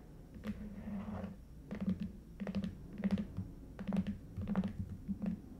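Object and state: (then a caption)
Paper-covered cardboard box, scratched and tapped. Fingernails scratch and tap both short ends of a long, red, lidded and hollow Stuhrling watch box made of cardboard covered in coated paper. A soft scratching passage gives way to clusters of quick, dull, hollow taps with a low body and almost no ring.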